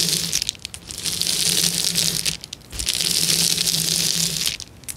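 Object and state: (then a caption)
Plastic bubble wrap. A large flat sheet of clear plastic bubble wrap on a table is pressed, scratched and crackled by fingertips and long nails. The result is a bright, dense crinkling and crackling that runs in two long stretches separated by brief quieter gaps. A faint low steady hum sits underneath.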